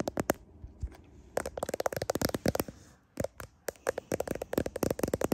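Fingernails tap and scratch a smartphone's clear plastic case and its camera lenses while the phone is held close to a mirror. Bursts of quick, sharp clicking taps come in rapid runs with short pauses between them, each tap dry with a slight hollow plastic tone.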